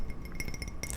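A glass 1995 Batman Forever mug, sold at McDonald's and made in France, is tapped repeatedly, giving a quick series of bright, short clinks. The clinks ring only briefly over a steady low hum.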